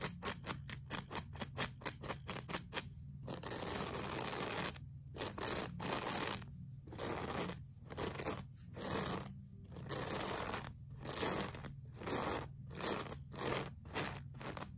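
A pink plastic-bristle brush is dragged in fast scraping strokes across a flat, solid beige looped-pile woven rug. It opens with a quick run of short, crisp bristly scratches, then shifts to longer, sweeping brush strokes. The sound is a bright, hissy scrape over a soft low rumble.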